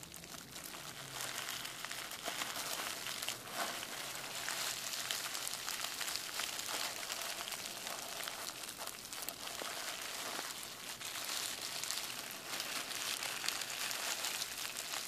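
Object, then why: Plastic bubble wrap sheet. A bunched sheet of clear plastic bubble wrap is squeezed and crinkled with both hands, popping bubbles. The result is a steady, bright crackling and crinkling with sharp little pops scattered throughout and almost no low end.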